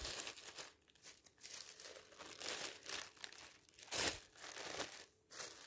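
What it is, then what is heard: Thin plastic bag. A thin, clear polyethylene bag laid over a magazine is lifted, rubbed and crinkled with the fingers and a flat hand. The result is quiet, bright, irregular crinkling and rustling in short bursts of varying loudness, with very little low end.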